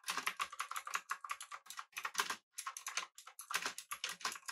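Fingertips of both hands type rapidly on a full-size, backlit, typewriter-style mechanical keyboard with blue switches, an aluminum body and round plastic keycaps. Dense, bright, crisp clicks come in quick bursts centered around 1 kHz, with almost no low end. Each keystroke stops dead, and there are brief pauses between runs.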